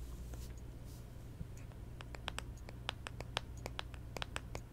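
Long acrylic nails tap and scratch a round plastic pop socket and the back of a small, hollow handheld smartphone in a clear plastic case, lying back side up. Soft scratching in the first half gives way to a quick series of sharp, bright, dry clicks that stop instantly. A steady low hum runs underneath throughout.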